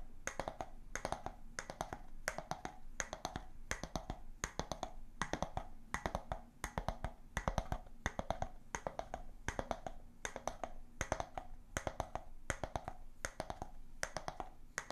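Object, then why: Glass jar with bamboo lid. An empty glass jar with a bamboo lid is turned in the hands while long nails tap and scratch the wooden lid and the glass. Clusters of quick, sharp, bright clicks repeat in a steady rhythm, each dying away almost instantly. A soft, steady low hum runs underneath.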